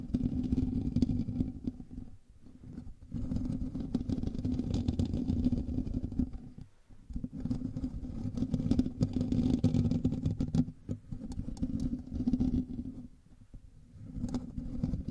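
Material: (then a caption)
Metal mesh. Fingernails of both hands scratch the hollow metal mesh grille of a black microphone, producing a dense, low, rumbling scrape with a steady hum-like tone. The scratching comes in sustained bursts, with brief quiet dips near 2, 7 and 11 seconds and a longer lull around 13 to 14 seconds before it resumes.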